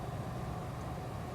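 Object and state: Nothing is struck.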